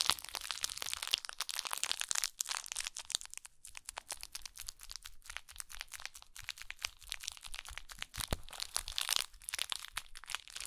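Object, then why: Small woven jute burlap pouch. A small, soft woven jute burlap pouch is held in both hands and scratched and squeezed with long acrylic nails. Dense, crisp crinkling and scratching is heard, bright and hissy with little low end. The clicks and rustles come in a steady stream without a break.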